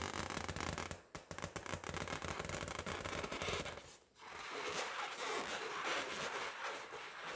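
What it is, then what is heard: Latex balloon. A pink, hollow, inflated latex balloon, held in both hands, is tapped and scratched with long patterned fingernails. For the first four seconds there is a dense run of quick, crackly taps with a low rubbery thump under them. After a short lull, a steadier, bright scratching rasp carries on to the end.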